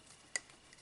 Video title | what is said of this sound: Mossberg 4 Power Scope with 7C Mounts | doesn't have any rattling noises in it if it's got rattling noises in it there's something missing or this isn't tight enough